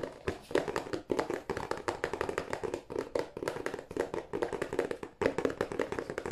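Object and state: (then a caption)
Cardboard tissue box. Fingertips of both hands tap rapidly on the end panel of a hollow, glossy cardboard tissue box. The result is a dense, uneven run of short, dry, hollow knocks with a mid-range body around 470 Hz, each dying away almost at once, broken by a few brief pauses.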